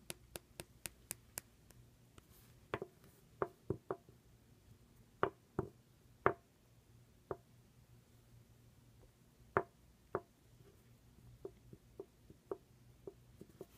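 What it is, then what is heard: Plastic cosmetic pen tube. A slim, hollow black plastic IT Cosmetics pen-style tube with a metal band and a rubbery grip section, held on a white surface, is tapped and scratched with long red-painted nails. About 20 sharp, dry clicks and knocks ring out, a quick even run at first and then irregular, with a hollow tone around 390 Hz. Each hit dies almost instantly over a faint background hiss.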